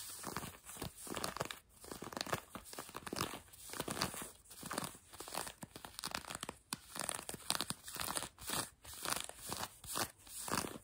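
A hand with long nails scratches blue denim jeans worn on a leg, producing rough, bright rasping strokes. The scratching comes in steady, quiet back-and-forth bursts with brief pauses between them.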